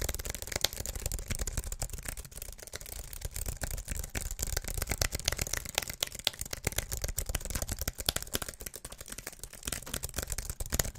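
Fingertips and nails tap fast across the white plastic keys of a slim wireless keyboard with an aluminium body, held upright. The result is a dense, irregular stream of short, dry clicks with bright highs over a soft low thump, continuing steadily for the whole clip.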